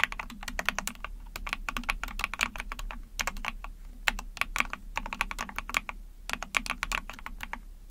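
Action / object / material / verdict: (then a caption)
tap / plastic mechanical keyboard / plastic / none. Rapid typing on a small Epomaker TH40 44-key backlit mechanical keyboard with an ABS plastic case, PC plate and pink and white keycaps, pressed with long painted nails and fingertips. Bright, crisp plastic clacks come in quick bursts with brief pauses, over a faint steady low hum.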